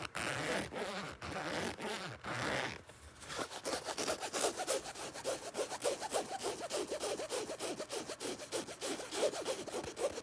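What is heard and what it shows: Fingertips and nails scratch the flat panel and zipper area of a black nylon fabric zipper bag. A few seconds of steady broadband rubbing give way to quick, irregular, rasping strokes with a bright, hissy texture and little low end.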